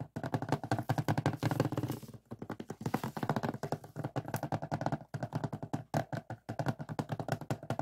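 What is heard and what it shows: Short fingertip nails tap and scratch the front cover of a closed hard plastic DVD case with a printed cover sleeve, lying flat on a table. The result is a fast, steady run of dry, hollow plastic clicks with a low body and almost no ring, broken by a few brief pauses.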